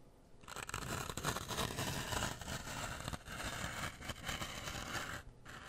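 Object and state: Floral foam block.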